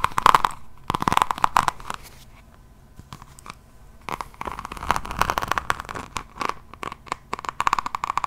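Long acrylic nails scratch across the cover of a hardcover diamond painting notebook, held close to the microphone, its cover densely set with small faceted resin rhinestones in a floral pattern. Quick, crisp crunching and clicking scratches come in bursts centered around 1 kHz, with a quieter stretch of softer rubbing midway before the rapid scratching picks up again.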